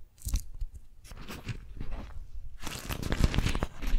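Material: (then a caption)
Waxed cotton. A beeswax-coated cotton food wrap, an orange- and lemon-print waxed fabric sheet bunched in both hands, is crinkled and gripped by long nails. Dense, crackly crunching comes in quick bursts, thinning briefly in the middle before growing fuller and louder toward the end.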